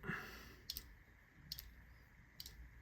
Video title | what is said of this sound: Knife Drip From HOB! | you can hear it moving but it's not coming out